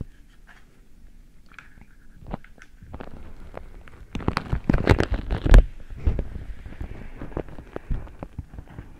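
A single patterned beeswax-coated cotton food wrap is held over the microphone while fingers grip, rub and crinkle the waxy fabric. Soft, muffled crinkles and dull thumps stay quiet at first, then grow busier and louder from about four seconds, peaking around five and a half seconds before easing back to scattered crackles.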